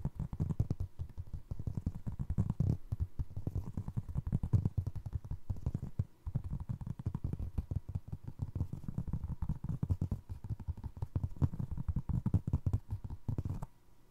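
Fingertips and nails rapidly tap and scratch across the ridged, treaded sole of a navy Crocs clog made of molded foam resin, with the hollow shoe held sole-up toward the mic. The result is a dense run of soft, dull, low thumps and rubbery scrapes with almost no ring, continuing steadily with a brief dip near six seconds before fading out at the end.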